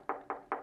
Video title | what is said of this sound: Discover The Ultimate Sound Experience With Klh Speakers! Are They The Best Value For Your Money? | when you knock on it I don't even know if you can hear that